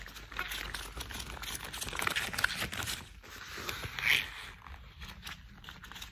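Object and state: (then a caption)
Rubber household gloves. Gloved hands in worn, thick cream rubber household gloves rub and squeeze together. The result is a continuous, bright, squeaky rubber friction with crinkly scraping textures. Sharper squeaks stand out near the two-second mark and again around four seconds.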